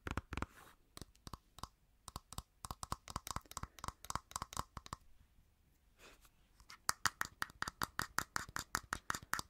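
A medium-size, hollow, cylindrical white lotion bottle with a gold band, probably plastic, is held in the hand and tapped and scratched with long painted nails. Dozens of quick, dry clicks with a hollow ring around 1.3 kHz and a bright edge die away almost at once, broken by a soft scratchy rustle. The taps then return faster and louder.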